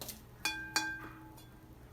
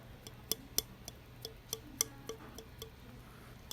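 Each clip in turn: First: bisque-fired clay, rings true. Second: unfired greenware clay, no ring.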